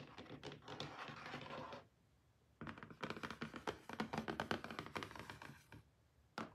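Short painted nails and fingertips tap and scratch a closed, medium-size, hollow pink cardboard album box, BLACKPINK THE ALBUM. Quick, dry, hollow taps mix with rough scratching in a dense burst, then a brief quiet pause. A longer run of rapid tapping and scraping follows, ending with one last short flurry.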